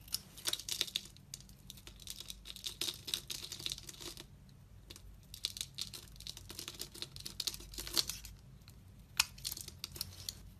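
A utility knife blade scrapes and shaves many small curls from the surface of a solid, opaque, hand-sized pink soap bar held in the hand. The sound is dense, dry and bright: rapid crisp scratches and crinkly shaving strokes come in clusters with short quiet gaps. There is almost no low end.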